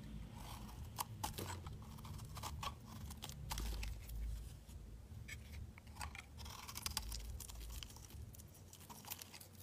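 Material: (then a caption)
Soap. A metal utility knife blade carves a solid, palm-sized pink bar of soap held in the hand, peeling and cutting off chunks with a scraping action. A dense run of quiet, crisp crunching and scraping clicks with bright edges plays over a steady low hum.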